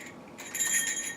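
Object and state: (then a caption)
Sheath rattling from loose steel rings. A Cold Steel 95ES Assegai spear's sheath is shaken, so the steel rings fitted through the holes at its bottom rattle. A bright, high metallic clinking and jingling builds after a quiet start, with short ringing tails.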